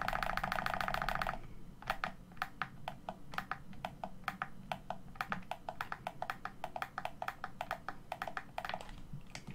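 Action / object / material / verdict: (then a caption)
tap / plastic game controller / plastic / none. A hollow black plastic Xbox One controller, held on a table, has its face buttons and thumbsticks pressed by thumbs. A steady, buzzy mid-pitched tone with bright overtones opens the clip, then gives way to a long run of short, sharp plastic clicks over a faint low hum.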